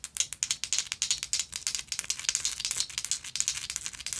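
A textured gold metal lighter is scratched and tapped with long nails, producing a rapid, continuous series of sharp, bright clicks and scratchy rasps. The sound is thin and high-pitched with no low end, and each tap dies away almost instantly.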